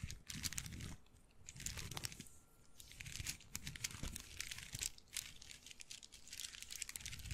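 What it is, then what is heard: Wooden bead handbag. Fingertips and nails rub and scratch the lattice of a hollow, dark brown wooden bead handbag as it is shaken close to the microphone. The result is a dense, continuous stream of bright, crinkly clicks and rattles over soft low thumps, swelling and easing in waves.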